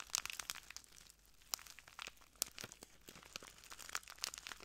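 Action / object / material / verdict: scrape / small plastic bag of granules / plastic / none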